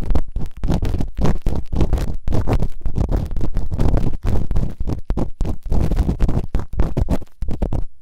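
Bamboo earpicks, held in fingertips with long nails, scratch and rub quickly inside the open canals of both solid rubbery silicone ears on a white binaural microphone. The result is a dense, muffled, bassy stream of short scraping and rustling strokes with brief gaps between bursts, with almost no high content.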